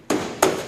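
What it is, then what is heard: Insulated steel truck cab roof, not tinny. Two knocks on the replaced, insulated steel cab roof of a 1961 GMC truck give short, dull mid-pitched thuds centered near 390 Hz that die out within about a tenth of a second. The insulated roof does not sound tinny, in contrast with an uninsulated panel.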